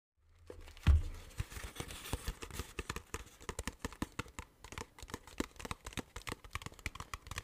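A small, hollow, clear plastic water bottle with a blue cap, partly filled with water, is tapped and squeezed with fingertips and nails. The result is a quick, steady stream of dull, low taps mixed with crinkly plastic crackles, with one louder thump near the start.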